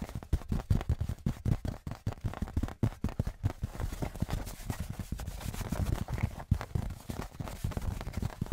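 A thin metal Patriots souvenir license plate, held upright on its edge in one hand, is tapped on its face and edge with fingertips and nails. Rapid, soft, dull taps with a low, boomy tone die away almost at once, spaced apart at first and then running together into a dense, continuous patter.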